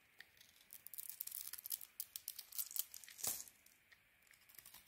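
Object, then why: Soap bar. A solid white bar of soap with a grey and red coating is shaved with a metal blade, scraping off curls. The quiet, bright, crisp scraping and crackling comes in a rapid series of short strokes with almost no low end.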